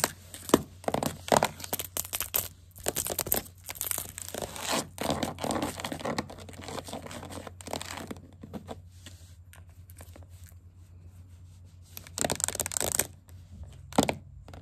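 Green plastic witch-finger caps on one hand and long acrylic nails on the other tap and scurry across a solid wooden tabletop, making rapid, dense, crinkly clicks with a bright, scratchy edge. The tapping quiets to faint, sparse ticks in the middle, then returns in brief louder flurries near the end over a steady low hum.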